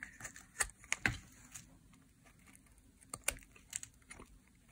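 A utility knife blade carves curled slices off a small, solid, oval, cream-white bar of dry white soap held in the hand. Crisp, bright scraping cuts and sharp clicks come in short bursts with brief pauses between them, over a soft background hiss.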